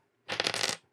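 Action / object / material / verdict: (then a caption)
tap / hardwood block / hardwood / dense. A chunk of dense, close-grained rare hardwood is tapped, giving a rapid run of bright, hard clicks that sound almost like plastic, with almost no ring. The hard, tight clatter shows how dense the wood is.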